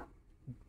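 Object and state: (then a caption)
Iron ship seat (not plastic). A single knock on an original German-made iron double passenger seat on deck 5 of the ship KM Labobar gives a short, dull, low thud with almost no ring. The deep, quickly damped tone marks the seat as solid iron, distinct from the plastic double seats on the KM Kelud.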